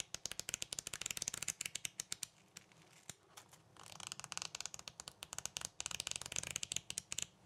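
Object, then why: Paper sticky note pad. A small yellow pad of paper sticky notes is held in both hands while the fingertips bend and flip through the stack of sheets. The result is a bright, dry riffling like shuffled cards: about 36 quick paper flicks come in two fast bursts with a quieter pause between them.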